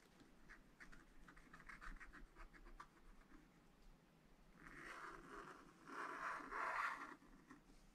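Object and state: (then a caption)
Wax-coated scratch art paper. A pointed wooden stylus scratches lines into the black wax-coated sheet of a spiral-bound scratch art pad lying flat on a table, while the other hand holds the pad. Quiet, short scratchy strokes come first, then longer, louder scraping passes with a dry, raspy midrange.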